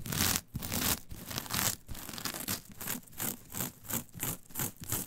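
Long pointed nails scratch and rake through a flat, brown, coarse fibrous coir mat. The result is a dry, bright, bristly scraping. Strokes come in repeated bursts, heavy and continuous at first, then settling into a steadier rhythmic back-and-forth.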